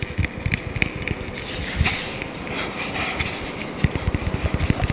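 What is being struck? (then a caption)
Small kraft cardboard box. A small, hollow, apparently empty hexagonal kraft cardboard box is held in both hands and tapped and scratched with long fingernails, sometimes close to the face. Quick dull, low taps mix with dry scratchy crackle and a bright, hissy wash, with an added echo effect blurring the sound.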